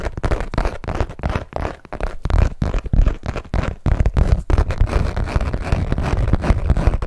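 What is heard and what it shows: A long hot-pink Michael Kors zip-around wallet of textured saffiano leather, small and hollow, is held in both hands and tapped and scratched with long nails. Rapid, dull, muffled taps run almost without pause, their weight sitting low, mixed with a dry scratching rasp. Brief dips break the stream in the first half before it settles into a steady, dense patter.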